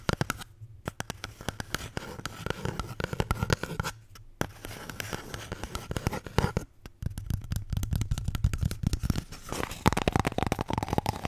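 A paper toilet roll is tapped and scratched with quick, dry taps and rough scratching that die away almost instantly. The sound is mostly low and muffled, with only faint brightness, and a few short pauses break up the steady rhythm.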